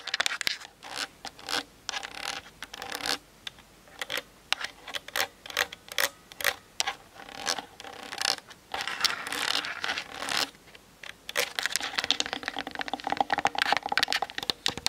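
Long nails rapidly tap and scratch the top and side of a Canon DSLR camera's hollow plastic body and lens while it sits on a tripod. The result is a quick run of short, dry, bright clicks and scrapes with no ring. A longer stretch of continuous scratching comes near the middle before the tapping picks up again.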